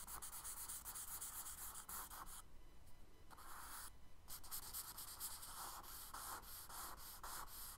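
Fingers rub and smudge a tan kraft paper sketchbook page resting on a dark table, then a charcoal stick scratches strokes along the drawn water lines. The result is a steady, soft, dry rasp with a bright, hissy top, made of quick repeated swipes. The sound briefly thins and quiets in the middle before the scratching strokes pick up again.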